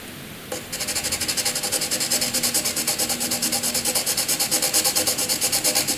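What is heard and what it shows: A graphite pencil shades a solid grey area on a sheet of white paper with fast back-and-forth strokes. After a brief quiet moment, a steady run of bright, scratchy rasps begins, each stroke a distinct pulse repeating at a quick, even pace until the end.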